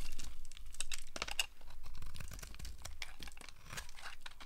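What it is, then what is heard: Dry soap bar being carved. A small blade with a yellow handle scrapes and carves curls and flakes off a solid, rounded, dry pink soap bar held in a hand. The result is a continuous run of dry, crisp scraping and crumbly crunching. Brief bright, brittle bursts cut through it, with no ringing.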